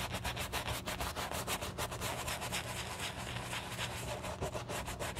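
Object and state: Leather shoe being brushed.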